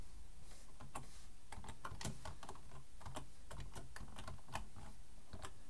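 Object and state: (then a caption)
Plastic computer keyboard being typed on. One hand types fast with its fingertips on a black plastic full-size computer keyboard resting on a wooden desk, while the other hand rests near the keyboard's front edge. A rapid, uneven stream of sharp, bright plastic key clicks rides over a steady low rumble, with the overall level staying fairly even throughout.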